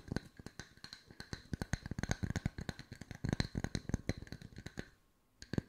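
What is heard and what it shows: Wooden discs are tapped with the fingertips at mixed speeds, giving a rapid run of short, dry, knocking taps with a low woody body and a faint bright click. The taps stop briefly near the end, leaving near silence, before a couple of final taps.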